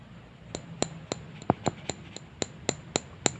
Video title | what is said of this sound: Jam Tangan T5 H3479 -- review dan lihat lebih detail | suaranya itu padat gitu, nggak kayak kaca bolong gitu kan, padat gitu, kayak tebal kacanya